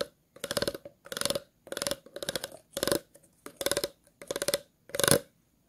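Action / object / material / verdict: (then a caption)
scrape / empty plastic water bottle / plastic / none. Scissors and fingernails scratch the ridges and base of an empty, hollow clear plastic water bottle. Eight separate rasping bursts of quick ridged clicks follow one another, each bright and hissy with a steady hollow tone near 550 Hz. Short silences fall between the bursts.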